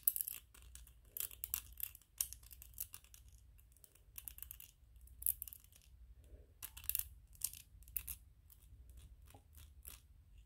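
Fingers and nails scratch, tap and rub a small white 3D-printed PLA plastic ghost toy. Quiet bursts of bright, dry scratching alternate with short, sharp ticks that die away almost instantly. A steady low hum sits underneath throughout.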